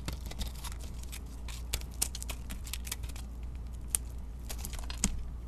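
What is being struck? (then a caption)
Soap bar scraped with a knife blade. A utility knife blade carves and scrapes a solid white bar of soap with pink-coated edges, held in the hand. A rapid run of short, crisp scraping clicks and shavings crackles bright over a steady low hum, with a few sharper cuts standing out.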